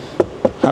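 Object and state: Hard plastic car interior trim.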